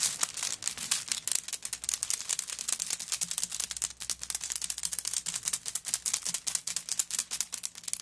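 Long nails tap and scratch rapidly on a handbag covered in coconut shell chips lying flat. A dense, steady stream of dry, bright clicks and scratchy crackles runs continuously for the whole clip, each tick crisp and short with almost no low end.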